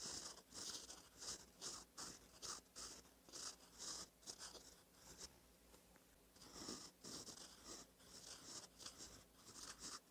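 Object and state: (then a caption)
Fountain pen writing on lined paper. A gold metal fountain pen nib, held by fingertips, scratches across a thin cream lined notebook page while writing cursive. The sound is a quiet, bright, papery scratching that comes in short, rhythmic bursts as each stroke is drawn, with brief softer pauses between them.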